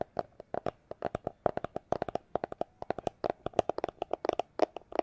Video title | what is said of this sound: ASMR Tapping Sounds With Cyberpunk 2077 Background | it's a plastic glasses holder case